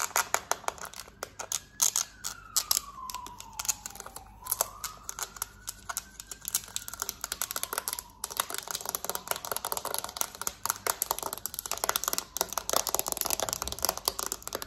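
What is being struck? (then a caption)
Plastic TV remote. Long nails tap and scratch quickly and forcefully along the smooth back of a hollow black plastic TV remote. The result is a dense, bright stream of sharp plastic clicks with rasping scratches between them and a faint gliding squeak that dips and rises in pitch.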